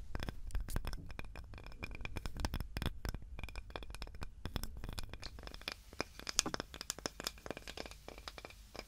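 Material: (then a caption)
Wood. Long nails scratch across a small, light, solid wooden cutting board with a handle, producing a dense run of dry, crackly scrapes and short, sharp ticks. A heavy low rumble sits under bright, brittle clicks that die away almost instantly. The scratching is busiest early on, then thins into sparser, more separated crackles toward the end.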